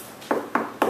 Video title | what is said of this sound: GIS lesson part 4 | sounds like plastic to me